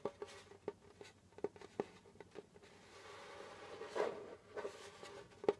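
Fingertips and short nails tap and scratch the pale skin head of a djembe, a hollow wooden-bodied hand drum held between the knees. About nine quiet, dry taps sound with a faint mid pitch that dies almost instantly. A soft, hissy scratching swells across the head in between.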